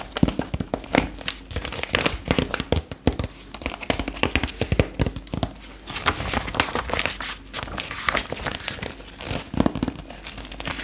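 Long pink acrylic nails tap and scratch a black-and-white page of a retro paper fashion magazine held up open, then bend the page. Dense, fast crinkling and crackling with many quick, dry taps, close and constant throughout.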